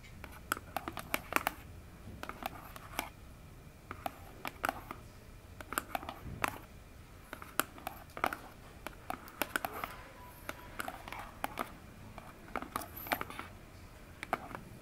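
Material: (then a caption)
Cardboard. Long fingernails tap and scratch the front face of a hollow orange cardboard phone box standing upright. Quick, dry clicks come in irregular bursts over a soft scratching rustle, each tap dying away almost instantly with a papery midrange tone.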